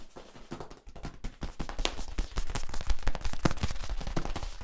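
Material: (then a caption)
Plastic. Hands rub and tap the ridges of a hollow yellow corrugated plastic tube while flexing it. The result is a dense, irregular patter of short, dry clicks and ridged scraping, with soft low thumps beneath. It starts quietly and grows louder and busier after about a second and a half.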